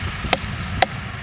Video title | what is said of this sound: 13th February 2026 - Annadata - అన్నదాత - Full Episode - ETV Telugu | తయారైతే గనుక tongue tongue మని sound వస్తుంది లేకపోతే డొప్ప సౌండ్ లాంటిది వచ్చేస్తుంది